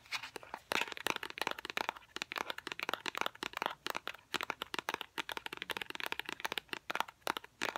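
A hollow, small white cardboard product box for a fidget cube is held in both hands and tapped with fingernails. Rapid, uneven bursts of sharp, dry clicks and light crinkly taps come in clusters, bright with almost no low end. Each tap stops instantly with no ring.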